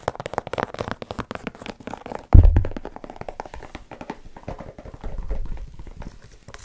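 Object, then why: Leather and rubber sneaker. A single light blue, white and yellow low-top sneaker with a leather-look upper and rubber sole, hollow and empty, is held in both hands above the mic while long nails scratch and tap the upper. A rapid run of soft, dull, low taps and scratches is heard, with one heavier thump around the middle and a low rumbling stretch near the end.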